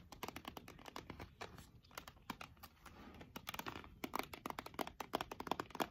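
Long nails tap rapidly on the sides of a clear plastic jar full of embroidery thread skeins, held in both hands. The taps are short, crisp plastic clicks with a faint crinkle, coming in quick irregular bursts that grow denser and louder toward the end.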